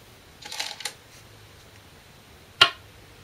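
Korean glass go stones (size 36, 10.2 mm) are placed normally, not slammed, on a 2-inch-thick shinkaya wood floor go board while replaying a professional game. A brief soft clatter of stones is followed by a single sharp, bright click that dies away almost at once.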